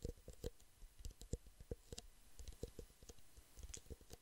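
Fingertips and nails tap quickly on the walls of two identical empty, small, hollow clear plastic drinking cups, each held upside-down in one hand beside the microphone. Dry, hollow clicks land in a fast, irregular patter, each with a low thump and a bright tick and almost no ring.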